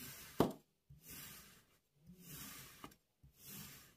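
A metal crinkle-cut knife slices through a solid, palm-sized, paw-shaped block of pink kinetic sand and scrapes the crumbly ridged slices, which fall onto the pile on a white surface. Soft, grainy, bright hissing swells come with each cut, broken by short sharp taps and brief near-silences.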